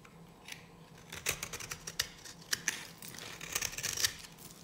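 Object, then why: Bar soap shaved with a metal blade. A solid, dry yellow bar of soap held in a hand with long nails is shaved with a metal knife blade. The clip is made of bright, crisp scraping and cutting strokes, with a series of sharp, short clicks standing out over a soft hiss.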